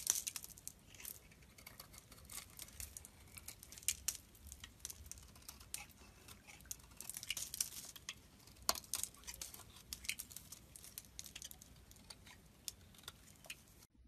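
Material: Soap.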